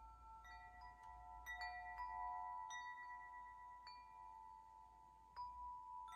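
Fingers strike and shake a metal tube wind chime, several hollow patterned metal tubes on a hanger, so they clink against each other. Irregular bright strikes set off sustained, overlapping ringing tones centered near 1 kHz with high shimmering overtones. Each tone decays slowly over a couple of seconds beneath the next clink.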